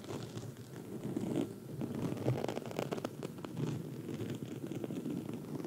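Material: Foam.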